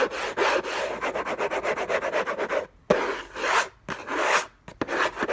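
Fingertips and short nails scratch the lid of a closed, long rectangular orange Hermès cardboard box covered in textured paper, lying on a fluffy blanket. A fast run of short, dry scratching strokes gives way, after a brief pause, to longer rasping sweeps separated by short silences. The scratching is bright and papery, with little low end.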